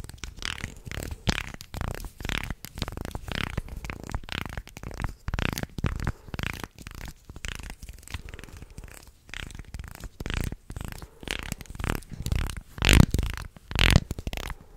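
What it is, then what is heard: Wooden segmented shark toy. A wooden, segmented, articulated shark toy is flexed and scratched with fingernails across its segment edges. It makes a steady run of dry, irregular rasping scrapes and clicks, heavy in the low end with bright scratchy edges. Two louder scrapes stand out near the end.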